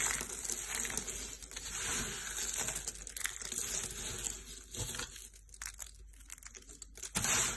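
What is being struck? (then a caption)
Soap shavings. A pile of yellow dry soap shavings on a purple mat is rubbed and crushed by both hands with the fingertips. It makes a steady, bright, crackling crunch with dense crinkly detail, easing briefly near the end before a final louder burst of crunching.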